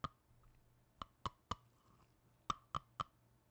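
Black-gloved fingers tap a small red plastic tub and click its partly separated lid on and off. Seven short, dry clicks with a bright ring around 1.2 kHz land in an uneven rhythm: three spaced hits, a pause, then a tighter run of three. A faint low hum sits underneath.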